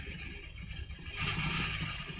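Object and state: Nothing is struck.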